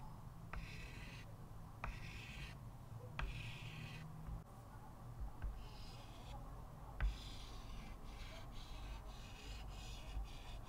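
A stick of white chalk held in the fingertips draws steady strokes across a small square chalkboard with a thin wooden frame lying flat on a table. The chalk scratches the board in a run of bright, raspy strokes, marked by short ticks where it touches down, over a steady low hum.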